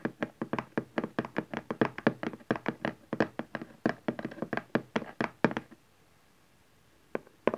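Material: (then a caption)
Cardboard. Fingertips and nails knock and tap the panel of a cardboard camcorder box lying on its long side on satin fabric. A quick, steady run of short, dry, hollow knocks and taps lasts about five and a half seconds. After a brief silence, two more taps follow.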